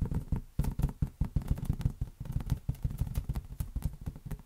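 A large, hollow, air-filled green latex balloon is tapped and patted rapidly with the fingertips and palm. Each hit makes a short, dull, low thump with almost no ring, some carrying a faint bright click, in an uneven, continuous stream.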